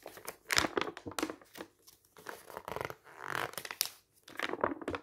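Fingers turn the pages of a thin, printed newsprint paper booklet and a hand presses them flat, making the paper rustle. Bursts of crisp, bright crinkling and soft tearing-like rustles come and go with short quiet gaps. The sound has almost no low end.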